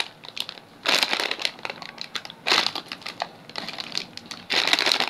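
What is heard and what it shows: A small sealed Poppitos nacho chip bag of shiny metallized plastic film, full of chips, is held in both hands and crinkled and squeezed with the fingertips. Bright, sharp crinkling and crackling comes in three louder bursts between quieter rustles.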